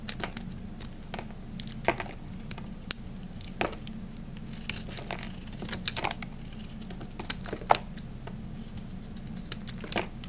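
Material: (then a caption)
Soap. A small knife blade carves chunks from the edge of a solid, dry, hand-sized green Camay soap bar held in the hand. Crisp, dry scraping and cutting clicks with bright crackly snaps come in uneven bursts over a steady low hum. Each cut stops short with almost no ring.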